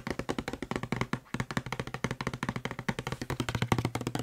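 Fingertips and nails tap fast on the body of a hollow blue plastic Febreze spray bottle held close to the microphone. They make a rapid, steady stream of short, dry clicks over a low, hollow resonance, with a brief pause just past the first second before the tapping picks up again.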